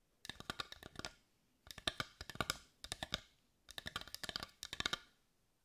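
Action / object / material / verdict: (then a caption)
tap / carved wooden heart / wood / none. Long white fingernails tap quickly on a carved wooden heart, seen edge-on with its grain showing. Four bursts of rapid, dry, bright clicks centred around 3.6 kHz come in short flurries, each tap dying away almost at once, with brief quiet gaps between bursts.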